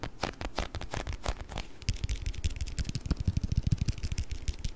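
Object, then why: Plastic food container with water beads. A small round clear plastic food container with a blue lid, filled with orbeez, is tapped and scratched with fingernails close to the mic. It starts with bright, scratchy strokes and then gives way to quick, dull, low taps. The taps come in a fast, uneven run and die away almost instantly.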